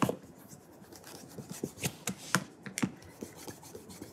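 Bare fingertips rub polish across the brogued calf leather upper of a burgundy oxford, held upright with a wooden shoe tree inside. Quiet, irregular rubbing strokes produce soft, dry swishes, punctuated by brief sharper scuffs that flick bright at the top and thump low near 180 Hz. Each stroke dies away almost instantly.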